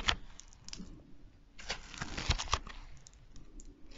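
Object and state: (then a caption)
Foam bead slime (floam). A small handful of soft, solid pink foam-bead slime (floam) is squeezed, kneaded and pulled apart with the fingers in front of the microphone. It makes dense, crunchy popping and crackling with a few sharper, brighter pops standing out, over quiet low rustling between bursts.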